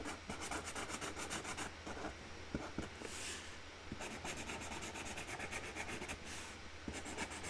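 A hand colours flower petals on a flat cardboard box lid with a pink marker, the felt tip rubbing back and forth in quick, scratchy strokes. The rasping runs steadily throughout with bright, airy hiss and a faint low hum beneath.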